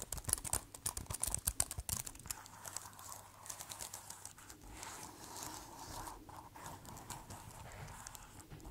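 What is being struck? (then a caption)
Plastic keyboard and keys. Fingertips type on and tap the black keys of a white plastic keyboard case. For about the first two seconds there is a run of sharp, bright clicks, then it settles into a softer, steady stream of quick, dry tapping and rustling.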